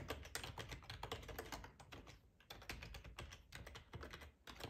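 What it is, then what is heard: Plastic computer keyboard. Fingertips type on a black plastic ergonomic split keyboard with a hollow housing, resting on a cloth tablecloth. Rapid, quiet key taps each pair a bright plastic click with a soft low thud from the body. The typing runs in steady bursts, with brief lulls near the middle and just before the end.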